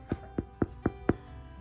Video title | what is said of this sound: Baking through the Struggles | It sounds hollow to me. I think that's the sound of a hollow piece of bread.